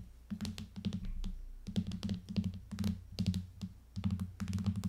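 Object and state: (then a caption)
Plastic tablet case over aluminium tablet. Long nails tap and lightly scratch the back of an aluminium iPad in a plastic case. The result is a quick, uneven run of dry, hollow taps with a low thud around 100 Hz and faint bright clicky scratches. Each tap dies away almost instantly.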